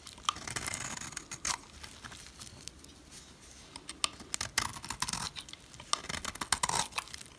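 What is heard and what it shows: A utility knife scrapes flakes off the flat face of a solid yellow oval dry soap bar held by hand. Crisp, bright rasping strokes come in quick, uneven bursts with short, sharp scratches and almost no ring. Quieter stretches of scraping fall between louder bursts.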